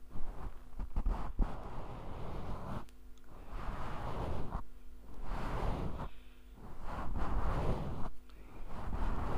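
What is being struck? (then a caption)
Synthetic fur microphone windscreen. A grey faux fur windscreen (deadcat) over a small handheld microphone is held in one hand while the fingertips and nails of the other hand scratch and rub the hollow fluffy cover. This produces close, muffled, low rumbling and rustling in repeated swells, separated by brief quieter gaps.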